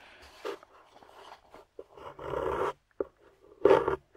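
A small metal pick with a wooden handle scrapes the solid surface of a grey plaster dig block embedded with yellow plastic fossil pieces, while fingertips hold the block steady. Short, gritty scratches alternate with longer rasping scrapes and brief quiet gaps, ending with a louder, brighter scrape.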